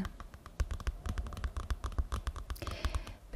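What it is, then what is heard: Card-covered paper notebook. Long painted nails scratch and tap the glossy blue card cover of a medium-sized paper notebook, held upright, closed and solid in one hand. Quick, irregular dry taps with soft low thumps mix with light scratching, which grows brighter and more hissy near the end. Each tap stops almost at once, with no ring.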